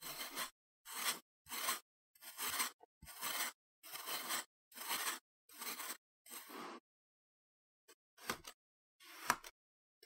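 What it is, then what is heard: Kinetic sand being scraped with a knife. A metal knife blade is dragged and scraped across a slab of spread-out green kinetic sand, solid and moldable, on a wooden chopping board, pushing the sand into ridges. Nine gritty, bright scraping strokes follow one another with short gaps, then after a pause come two sharper, quicker scrapes.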